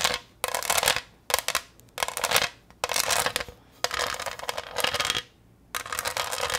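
Long green nails tap and scratch across the raised diamond pattern of a flat, pineapple-shaped green pressed-glass serving dish with a textured surface, held upright in both hands. Bright, crackly scratching comes in bursts separated by short silent pauses, with quick taps mixed in and almost no low end.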